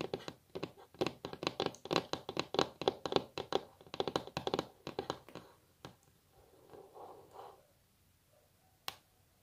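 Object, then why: Wooden table top. Long natural nails tap quickly on a solid wooden table top in a rapid, typing-like drumming of dry, short clicks with a bright edge. After about six seconds the tapping thins out into a few soft rubbing sounds, and a single sharp tap lands near the end.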